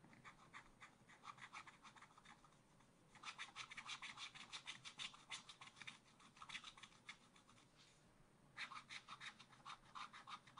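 A wooden stylus scratches and rubs the black coating off a scratch art card in a spiral pad. It makes quick, bright, rasping strokes in three bursts with brief pauses between them.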